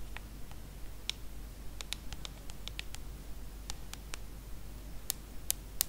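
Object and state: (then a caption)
Aluminum and glass smartphone tapped with nails. Long acrylic nails tap the aluminum body and glass screen of a small, solid hand-held iPhone smartphone. About sixteen short, crisp clicks arrive at an irregular pace over a steady low hum, with the last three louder and brighter.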